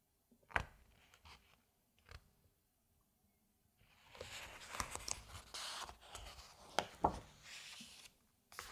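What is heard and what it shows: A large, thick hardcover book of space photos is held open while its glossy paper pages are turned by hand, with fingertips sliding along and flipping the sheets. A few crisp page snaps and soft taps are followed by a quiet pause. Then comes a longer stretch of bright, papery rustling and sliding, punctuated by sharp flicks as pages turn over.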